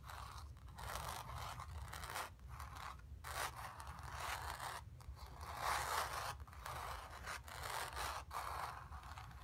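Long nails scratch the surface of a square, acrylic-painted stretched canvas on a wooden frame, hollow behind and resting on carpet. Repeated dry, rasping scratch strokes with a papery texture centered around 1 kHz are separated by brief pauses over a low, steady rumble.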